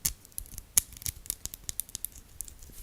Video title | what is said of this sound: ASMR * 3 Hrs of Talking, Tapping & Scratching * Makayla’s Compilation Video!! | firm because you can hear I'm just able to tap on it no problem